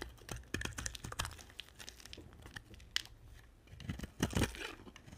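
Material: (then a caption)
Soap. A hand-sized, solid cream-white dry soap bar is held in one hand and carved with a box-cutter blade. Short, dry scraping strokes crunch and crinkle, with sharp crackling snaps and no ring. Crumbly chips shed off with each stroke.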